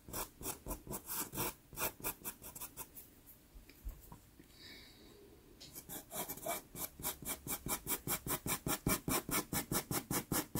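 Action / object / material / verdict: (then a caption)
scrape / pastel pencil scratching on a taped pastel paper card / paper / none. A dark pastel pencil scratches outline strokes across a small taped sienna Pastelmat card, making 33 quick, dry, bright scratching strokes in an uneven rhythm. Midway the strokes thin into a soft, quiet rub, then return louder and steadier to the end.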